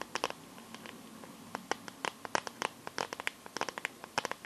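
Long nails tap and scratch the back and edges of a smartphone in a clear plastic case filled with liquid glitter. About two dozen quick, dry, clicky taps land at an uneven pace, with bright plastic ticks and faint scratching between them over a quiet background.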